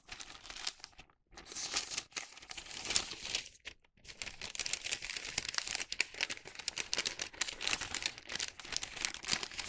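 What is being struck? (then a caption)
Thin wax paper bag. A hollow bag made of thin printed wax paper is held in both hands and bent and opened, giving off a dense, bright crinkling and rustling. The sound comes in quick crackles with brief pauses near the start, then continues steadily to the end.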